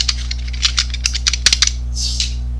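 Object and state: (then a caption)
Rattling snap-off knife, loose blade track. A yellow snap-off utility knife, apparently a DeWalt 25mm with a plastic housing and metal blade track, is shaken and gives a quick series of light, bright metallic rattles and clicks over a steady low hum. The noise comes from a fault: the outer yellow piece does not hold the blade track well, letting it rattle.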